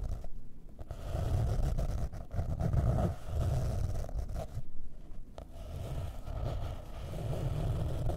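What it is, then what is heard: Hardcover notebook cover scratched. Long painted nails scratch and rub across the printed cardboard cover of a square hardcover notebook, about 20 cm, with a blue marble print and gold veins, lying flat on a table. The scratching is a steady, dull, low rumbling rasp that swells and eases in waves, with brief quieter gaps between strokes.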